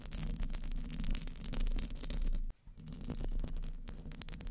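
Very long painted fingernails tap and scratch the hollow, round metal mesh grille of a large studio microphone. The result is a dense run of close, boomy low thumps and rumbling, with fine crackly scratching on top. There is a brief drop to near silence about halfway through before the tapping resumes.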